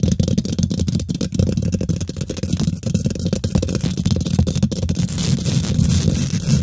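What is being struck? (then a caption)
Metal mesh microphone grille. Long nails and fingertips of both hands rapidly scratch and tap the domed, hollow woven metal mesh grille of a large silver condenser microphone, up close. The result is a dense, continuous stream of scraping and tapping that sounds boomy and muffled, with most of its energy in a low rumble around 86 Hz and only faint high-end grit. Quick thumps stand out throughout without any pause.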